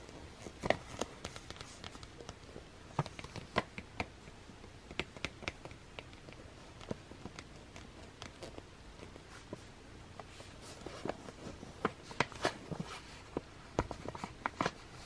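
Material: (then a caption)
Plastic. A small clear plastic water brush pen, its hollow barrel partly filled with water and with a threaded section, lies on a white surface and is handled, tapped and scratched with long dark-painted fingernails and fingertips. Quiet, sharp, clicky taps and faint scratching sounds come in irregular bursts over a low steady hiss. Each tap is bright and dies away almost instantly.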